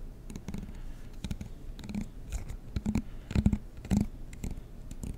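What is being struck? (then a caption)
Plastic comb teeth. A fingertip and nail strum the teeth of a black plastic comb close to the mic. Quick, irregular bursts of soft clicking ticks come in with a low, buzzy hum near 200 Hz. Each burst stops almost at once, with no ring.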